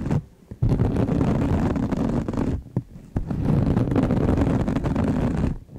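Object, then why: Sparkly knit fabric pouch. Long acrylic nails scratch the textured, sparkly knit glitter fabric cover of a soft rectangular pouch held in both hands. The result is dense, scratchy rustling in long bursts, weighted toward the low end. Brief quiet pauses fall near the start, in the middle and at the end.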